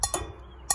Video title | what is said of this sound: May 12, 2020 | you can kind of hear it when I tap my finger on it where that warm air is trapped